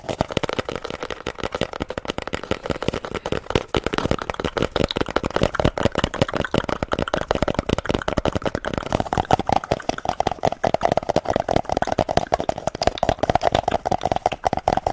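A small, hollow, empty cardboard toilet paper tube is held close to the microphone and rapidly tapped and scratched with long manicured nails. The result is a dense, continuous stream of short, dry clicks and scrapes over a hollow, resonant tone around 750 Hz.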